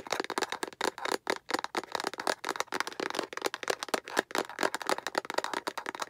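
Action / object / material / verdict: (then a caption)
tap / hollow plastic egg capsule / plastic / none. Long acrylic nails tap and scratch fast on both sides of a hollow, translucent yellow-green plastic egg capsule held vertically. The result is a rapid, dense stream of sharp, dry clicks and scraping with a bright, hollow plastic tone and almost no low end.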